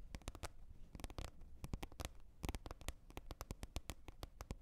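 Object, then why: Large flat plastic lid. Long nail tips tap the top of a large, flat, hollow green plastic lid lying on a surface, making a rapid, irregular run of short, crisp taps. Each tap is a quick click over a low, hollow thump that dies away almost instantly.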